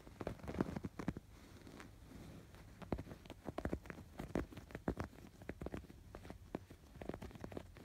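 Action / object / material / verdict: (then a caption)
scrape / stuffed canvas pillow with yarn embroidery / canvas / none. Fingertips scratch and rub the raised yarn embroidery on a stuffed canvas pillow, making quiet, dry scratching and soft tapping sounds. The strokes come in quick, irregular bursts with short pauses between them. The sound is muffled and dull, with little brightness and no lingering ring.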